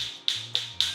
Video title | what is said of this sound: Setelah Handover Lakukan hal ini dahulu, claim garansi unit | yang suaranya beda nih. Berarti kopong.